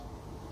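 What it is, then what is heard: Wooden cricket bat knock test. A wooden cricket bat, held loosely in one hand, is knocked once to test how much life it has. After a quiet stretch, a single sharp, woody knock sounds near the end, with a bright tone around 570 Hz that dies away quickly.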